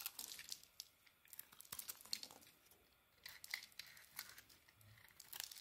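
A solid beige, palm-sized rectangular bar of soap is held in the hand and shaved with a small metal carving blade, sending curls and flakes falling off. The sound is a quiet series of bright, crisp scraping and crinkly cutting strokes, mostly high in pitch with almost no low end, each stroke short and dry with little ring.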